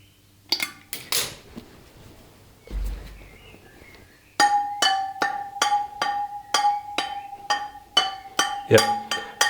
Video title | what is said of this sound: EP:20 BMW GS/A Spoked Wheels & Adjustment, Lose Spoke adjustment & Tension, how to fit new spokes GS | when we tap this spoke, we can no longer hear a difference to the other spokes, or not much of a difference